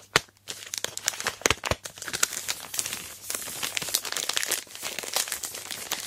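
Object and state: Plastic-wrapped chocolate bar.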